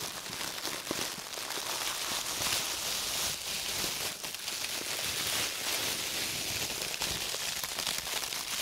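A thin, clear, empty plastic produce bag with green print, soft and hollow, is crumpled and crinkled throughout by two red-gloved hands. The result is a steady, dense crackle of bright, high rustling with almost no low end, holding an even level from start to finish.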